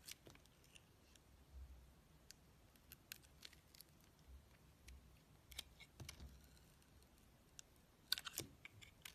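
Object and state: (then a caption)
Bar of soap being carved. A steel utility-knife blade carves thin slices off the black face of a solid oval bar of soap with a green rim and black core, held in the hand. Quiet, crisp, bright scraping ticks come in short, separate bursts over a low, soft background, with a sharper cluster of cuts near the end.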